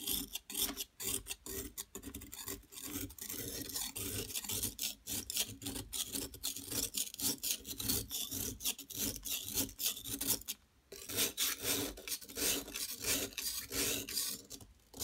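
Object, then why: Plaster block scraped with a metal knife. A metal palette knife scrapes grooves into the top of a large, solid yellow plaster gold-bar dig block held by a hand with long nails, spilling powder onto the table. Rapid, bright, rasping scrape strokes run almost continuously with little low end, pausing briefly near the 11-second mark before resuming.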